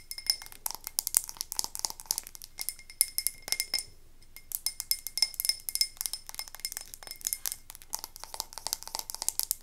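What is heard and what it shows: A medium frosted white-and-navy glass candle jar with a paper label, filled with wax and held in both hands, is rapidly tapped and scratched on its glass sides with long acrylic nails. The result is a fast run of bright, dry clicks and clinks with scratchy high hiss and almost no ring or low end, broken by a brief quieter pause near the middle.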